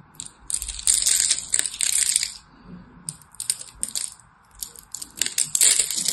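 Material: Soap.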